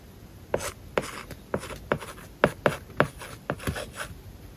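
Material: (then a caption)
Plastic film. A stylus writes Japanese and English words on an iPad tablet screen covered with a matte, paper-like plastic film. A steady series of sharp, dry taps, each followed by a short scratchy stroke of faint hiss, sits over a quiet background.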